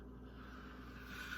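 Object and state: Nothing is struck.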